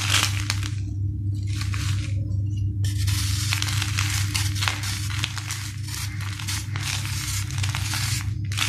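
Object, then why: Sand-cement ball. A steel knife scrapes a hand-sized solid sand-cement ball, shaving powder off its surface. Repeated gritty, bright scraping strokes come in irregular bursts with brief pauses between them, over a steady low hum.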